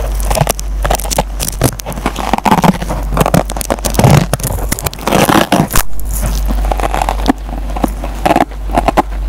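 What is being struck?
Nylon scouring pad on foam sponge.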